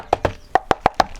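Six knuckle knocks on the plastic casing of a Bigben Party BT Pro Plus portable Bluetooth speaker produce short, dry, hollow taps centered around 750 Hz, each dying out almost instantly. The enclosure sounds hollow, as if there were nothing inside, and comes across as cheap plastic.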